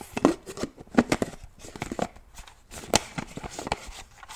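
Fingernails tap and click on the snap or screw lid of a black plastic shaker bottle. The result is a quick, irregular series of sharp, dry plastic clicks and taps with a hollow midrange body and bright edges, each dying away almost instantly between softer rustling touches.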